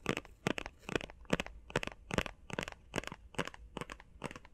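Fingernails tap and scratch quickly on a small, hollow, blue printed face mask box that appears to be cardboard. Short, crisp, papery taps and scrapes come in a steady run of quick bursts. Each is dry and bright, with no ring after it.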